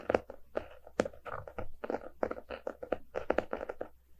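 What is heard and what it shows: A closed, solid hardcover book with a paper-covered cardboard cover, lying on a rug, is tapped and scratched with the fingertips and short nails of both hands. Quick, dry taps with almost no ring land in an uneven rhythm, with bursts of scratchy rustle in the lower mids between them.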